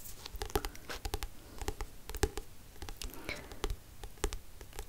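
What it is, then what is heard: Paperback book with glossy cover. Fingertips and nails tap and scratch the glossy card front cover of the paperback book *Het einde van een sprookje*, held upright. The result is a quick, uneven series of short, dry taps that die away almost instantly, with low, soft thuds and bright clicking edges. A faint scratching rustle fills the gaps between taps.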